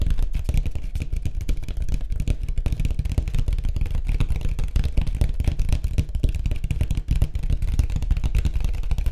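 Fast fingertip tapping on a white surfboard, heard as a dense, continuous run of quick, dull taps with a deep, low body and almost no bright content. The taps blur together at a steady level throughout, each one dying away almost instantly.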